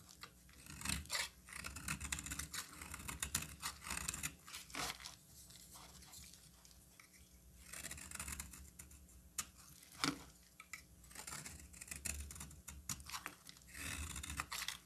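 A hand-sized, solid green embossed bar of soap is cut with a metal utility knife blade, giving bursts of bright, crisp scraping and crumbling crackle. Quieter stretches fall between the bursts, and the cutting sounds are dry with almost no ring.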